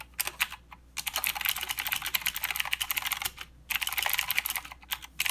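A full-size mechanical keyboard with plastic keycaps and blue clicky switches is typed on continuously by fingertips of both hands. Dense, bright, sharp clicks run in fast bursts, broken by a few brief pauses, with a faint low hum underneath.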